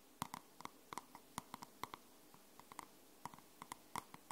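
Long nails tap and scratch the matte cardstock cover of a dark grey paperback book held in both hands, making about 19 short, dry, solid clicks with a tone near 1 kHz. Each tap is quiet and dies away almost instantly, with faint bright scratching in between.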